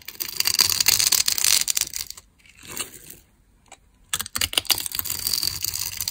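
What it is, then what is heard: Dry bar of soap being scraped and cut. A small knife scrapes and cuts small cubes from a solid, hand-sized rectangular bar of dry red soap with a scored grid surface, held in one hand. The result is bright, crisp crunching and scratching in dense bursts, with a quieter stretch of soft scraping in the middle before the cutting picks up again.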